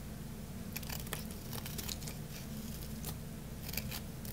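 A craft-knife blade slices a solid, dry red bar of soap that is getting smaller, making a run of crisp, bright crunching and crackling snaps. The snaps sit over a steady low hum that continues throughout.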